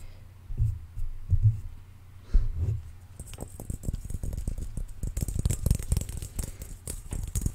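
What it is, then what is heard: Clear plastic ball. A large, hollow, transparent, dimpled plastic ball is held in one hand and tapped with the fingertips of the other. A few soft, deep thumps come first, then the tapping turns into a quick, steady patter of muffled low knocks with a faint bright clicky edge. The taps die away almost instantly.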